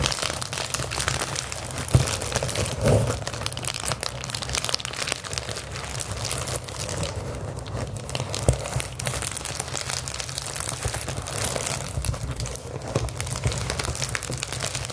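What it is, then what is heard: Plastic bubble wrap. Rolled clear plastic bubble wrap held in the hands is squeezed and scratched with long acrylic nails, giving a steady crinkling and crunching texture with sharp little snaps. The sound is dense and continuous across the whole clip, with strong low rumble from handling beneath bright, crackly detail and a few louder pops standing out.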